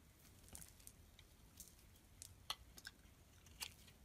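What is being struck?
Bar of soap shaved with a metal blade.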